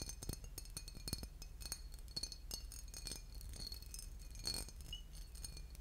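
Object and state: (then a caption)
Textured glass bottle with liquid. A small embossed, boot-shaped glass bottle with a metal cap, partly filled with liquid, is held in the hands and tapped and scratched with fingernails. Quick, bright glassy clicks and scratchy ticks come in an irregular stream, each dying away almost at once, over a steady low hum.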